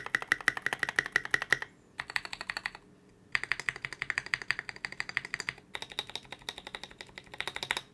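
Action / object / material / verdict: tap / polycarbonate mechanical keyboard / polycarbonate / none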